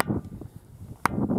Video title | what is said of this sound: The Ringing Stone, Tiree | ringing the north face and getting much deader sounds